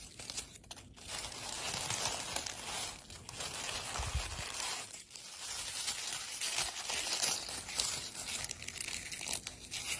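Dry rose petals in a wicker basket are crumpled and rubbed between fingers and scratched with long pale blue acrylic nails. The result is a continuous bright, crisp crackling and tearing rustle that swells and dips over about ten seconds.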